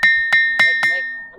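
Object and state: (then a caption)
Ringing musical stone at a temple. A ringing stone at Sri Indreshwara Swamy Temple in Indresham village is struck four times in quick succession. Each strike gives a bright, bell-like clang with a steady high tone near 1.8 kHz. The ring sustains and blends across the strikes, fading slowly after the last.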